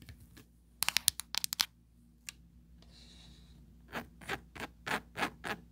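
Four long pointed nails scratch and rub over an empty, small oval plastic tray with a grid-textured mesh surface and a ridged side wall. A quick burst of sharp, bright clicks and scratches is followed by a single tick and a faint high hiss. Then come slower, swelling rubbing strokes across the mesh and ridges.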